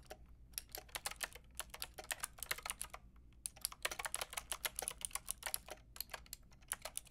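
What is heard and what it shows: Rapid typing on a full-size, white-pink backlit Lofree-style mechanical keyboard with round plastic keycaps and a hollow plastic case, struck with long painted nails and fingertips. Around forty bright, sharp clicks and clacks come in quick, uneven bursts with a brief pause near the middle, each dying away almost instantly over a faint low background hum.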